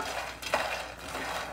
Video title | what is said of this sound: Chef Nita Shah, Episode 6074: #SimpleHomemadeRecipes Facebook Live | देखिए आपको आवाज से पता चल रहा है कि हमारा मखना रोस्ट हो रहा है